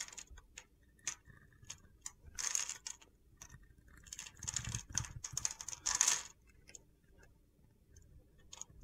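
A utility knife blade scores and shaves the surface of a solid mint green bar of soap with stamped lettering, held in the hand. It makes crisp, high-pitched scraping and crunching bursts with short ticking strokes, and gritty flakes fall off.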